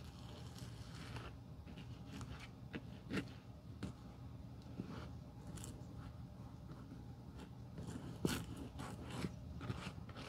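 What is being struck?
Leather shoe sole.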